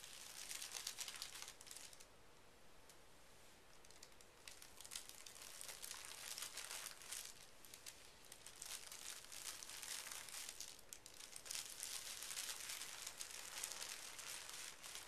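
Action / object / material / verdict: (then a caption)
scrape / thin tissue paper sheet / paper / none. Both hands smooth and rub a large, flat sheet of thin pink tissue paper lying on carpet, using fingertips and short nails. The result is a steady stream of soft, bright crinkling and rustling in quick bursts, with a quieter stretch early on before it builds again.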